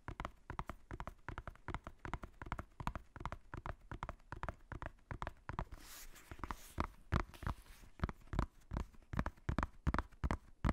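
A black faux-leather hardcover notebook with white page edges, held beside the microphone, has its cover and spine tapped quickly with the fingertips. The result is a fast, uneven stream of dull, low, thumpy taps with very short decay, and a brief brighter scratchy wash near the middle.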